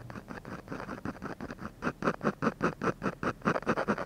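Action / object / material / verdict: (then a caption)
scrape / ballpoint pen scratching a paper drawing sheet / paper / none. A ballpoint pen scratches short shading strokes beside the nose of a drawing on a textured paper sheet. It makes a quick series of dry, papery scratches at roughly two to three strokes per second, with an uneven rhythm. The strokes start soft and grow into louder, distinct rasping bursts in the second half, with no ring after each stroke.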